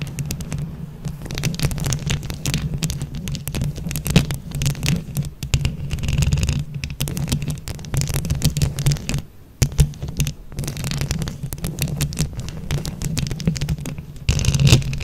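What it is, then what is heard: Microphone covered in plastic rhinestones, scratched with nails. Long nails on both hands scratch a microphone grille covered in plastic flower rhinestones, producing a dense, continuous crackle of bright clicks over a heavy, throbbing low rumble. The scratching briefly drops almost to silence at around nine seconds, then resumes and grows louder toward the end.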